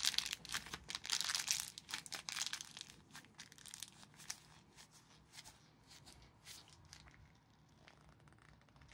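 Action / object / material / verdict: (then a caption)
shake / plastic film sweet packet / plastic film / none. Gloved hands crumple and squeeze an empty orange plastic-film Jelly Babies sweet packet into a small ball. Bright, crackly crinkling is loudest in the opening seconds, then quiets into softer, scattered crackles as the packet is compressed.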